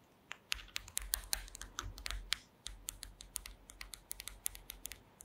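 Long green acrylic nails tap rapidly on a woven wooden slat mat, with the microphone close up at the end. Quick, sharp, bright clicks ring only briefly, with dozens of separate taps over a soft low rumble.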